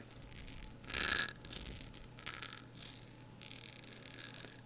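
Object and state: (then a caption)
Ribbed glass candle jar. Long acrylic nails scratch along the ridges of a blue ribbed glass candle jar filled with wax, held close. The sound is a series of bright, raspy scraping bursts with a faint steady low hum underneath.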